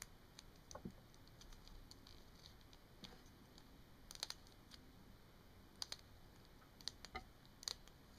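Long painted nails tap and scratch the hollow barrel of a small plastic Sharpie marker that is held and rested on a table. Quiet, sharp, bright clicks land irregularly over a faint steady hiss, with softer scratching between them and no ring after each tap.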